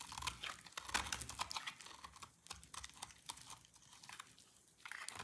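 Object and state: Dry soap bar being cut.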